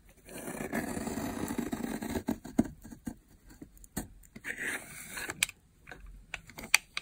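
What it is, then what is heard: Dry soap bar being carved. A metal blade carves thin, cracked layers off the top of a long, solid, dry, dark purple soap bar with a speckled texture, lying on a white surface while a hand holds the far end. The sound is a steady, dry, crackling scrape that breaks into sharp, bright snaps and short flaking crunches as the layers split away.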